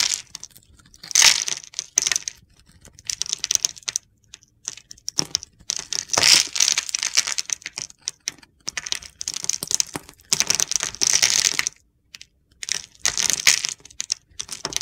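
A red-handled utility knife blade scrapes and carves gritty chips from a solid blue bar of soap with a pale inside, held in the palm. Bursts of dry, bright crunching and scratching come in short, uneven clusters separated by brief silences.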